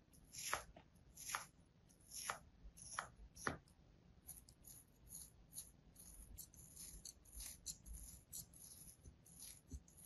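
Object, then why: Kinetic sand slab cut with a metal blade. A metal blade scores repeated thin cuts into a flat, solid, molded slab of beige kinetic sand held in the palm over a sand tray. Five crisp, bright slicing strokes come first, each short and dry with almost no ring. They are followed by a quieter, denser run of small cuts and soft gritty crumbling over a faint high hiss.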